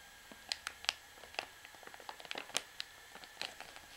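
Long nails tap and scratch the printed label on the back of a full white plastic washing powder pouch held up, crinkling the plastic. Quiet, irregular sharp clicks and crisp crinkles sound bright and dry, with almost no ring and no low end between them.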